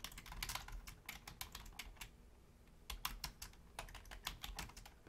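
A full-size black plastic Logitech membrane keyboard with a hollow housing is typed on rapidly with the long fingernails and fingertips of both hands. Bright, clicky key taps come in quick bursts, with a short lull near the middle before the typing resumes.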